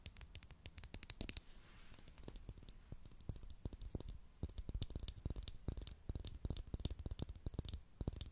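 A small, hollow purple Pritt glue stick with a plastic tube and cap is held in the hands close to a microphone and tapped and scratched with long, glittery acrylic nails. The result is a rapid, uneven stream of sharp plastic clicks and scratchy scrapes with bright highs and dull, thumpy low-end knocks. There is a brief softer stretch of quiet scratching early on before the tapping picks back up.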